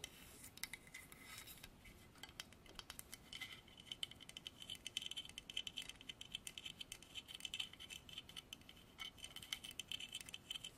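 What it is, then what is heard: Carved wooden horse figurine. Long nails tap and scratch the carved surface of a dark, polished solid wood horse figurine on a stand. The result is a quiet, dense run of tiny, bright clicks and dry scratching, almost all high-pitched, with a faint steady tone near 3 kHz underneath.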